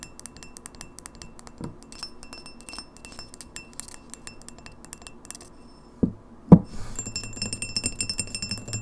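A tall, empty, clear pint glass with an etched logo, first held and then standing upright on a wooden table, is tapped rapidly on its sides with long fingernails. The result is a steady stream of quick, light clicks and bright glassy ticks, with two louder, low knocks near the end before the tapping continues.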